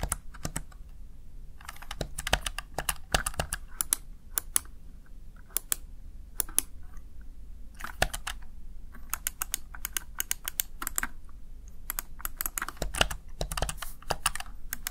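Fingertips tap the keys of a Razer Tartarus Chroma plastic backlit gaming keypad in quick, uneven bursts, each press a short, dry click with a bright top. A steady low hum sits underneath throughout.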